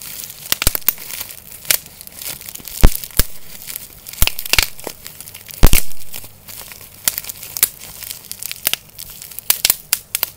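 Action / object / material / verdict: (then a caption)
scrape / plastic bubble wrap / plastic / none. Both hands hold a small clear piece of air-filled plastic bubble wrap while the fingertips squeeze and pop the bubbles and crinkle the sheet. Sharp, bright pops crack out at irregular intervals, a few standing out louder. Between them runs a soft, steady crinkling over a faint low rumble.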